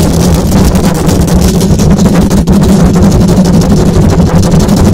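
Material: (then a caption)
Metal mesh. A silver condenser microphone's hollow metal mesh grille is scratched fast by long acrylic nails, producing a loud, continuous rough rasp. The sound is dense and low-heavy with a steady hum-like tone near 184 Hz, and a brief dip in level about halfway through.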